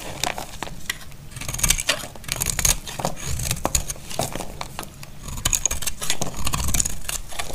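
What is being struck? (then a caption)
Bar of soap shaved with a blade. A solid, dry white bar of soap is held in the hand and shaved into flakes with a snap-off blade. A steady run of crisp, bright scraping strokes and small crackling snaps plays over a low, dull rumble.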